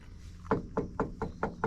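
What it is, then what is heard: Solid steel car body panel, no filler. Six knuckle knocks on a steel body panel of a 1963 Studebaker GT Hawk, each a short dull thud with a brief ringing tone around 450 Hz that dies away quickly. The panel sounds like solid metal rather than body filler.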